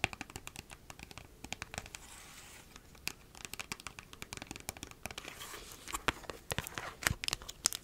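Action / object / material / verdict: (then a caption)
scrape / flattened plastic toothpaste tube / plastic / none. Long nails scratch and crinkle a flattened, empty plastic toothpaste tube with a white cap. Dense, crisp clicks and crackles sit mostly in the high range, broken by short stretches of softer, hissy scraping.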